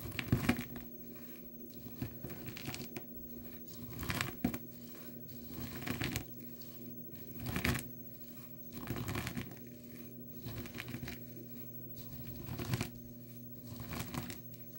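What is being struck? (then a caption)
Soap shavings in a plastic tub. The base of a glass nail polish bottle, held in the fingers, crushes curled dry blue soap shavings filling a small clear plastic tub. Dry crinkling, crunching bursts come and go over a steady low hum. Each press rises into a brief crackle and fades quickly.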